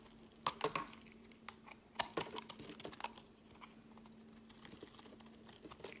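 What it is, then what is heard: Bar of soap being carved. A utility knife blade scrapes across a solid, palm-sized, teal speckled bar of soap held in the hand, carving off flakes. Quiet, crisp scratches and dry crackling cuts come in uneven bursts, with short bright clicks. A faint steady low hum runs underneath.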